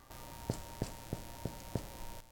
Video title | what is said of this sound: How to make Challah. Yes, you can! It’s pretty simple. Sweet, "eggy," bread perfection! | it actually does sound hollow